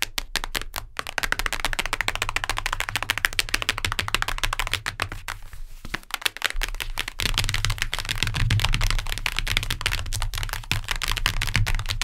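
Long nails tap rapidly on the cardboard cover of a hardcover book, producing a dense, irregular stream of sharp, dry clicks with no ring. The tapping thins briefly near the middle, then resumes fuller over a steady low rumble.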